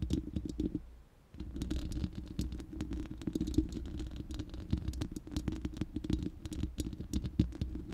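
Long nails scratch and tap the bare, hollow round steel mesh grille of a studio microphone, making a dense stream of quick, crisp clicks over a boomy, low rumbling scrape. The sound fades into a brief near-silence around the one-second mark, then resumes as steady scratching and tapping until the end.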